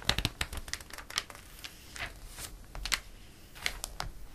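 A hand sweeps and rubs across the glossy pages of a paper catalog, then turns a page. Quiet, dry rustles and crisp, bright crinkling ticks come in short bursts, with a soft brushing swish between them.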